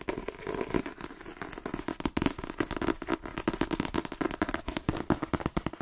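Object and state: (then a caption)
Paperback book. A paperback copy of the novel "The Twins", a solid paper block, is held in one hand and tapped quickly with the fingertips and nails of the other hand. The result is a fast, irregular stream of short, dry taps with a muffled low-mid thud, mixed with light crackling scratches from the nails. Each tap dies away almost instantly.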